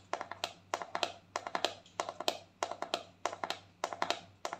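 Long painted fingernails tap the lid of a palm-sized, round white plastic cosmetic jar with a pink label, hollow and likely filled with cream. About 29 quick, dry clicks come in short rhythmic bursts with brief pauses between them. Each tap has a hollow, mid-pitched plastic tone with some bright edge and almost no ring.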